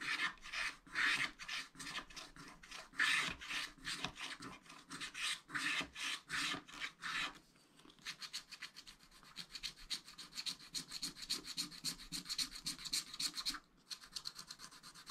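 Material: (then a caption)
Coated paper. A wooden stylus scratches the black sky coating on a thin wax-coated paper sheet of a spiral-bound scratch-art pad, making bright, dry rasping strokes in a steady rhythm. After a short pause, fingers sweep across the sheet to rub off the scratched flakes, producing a quicker, finer, hissing rub that briefly stops and then resumes.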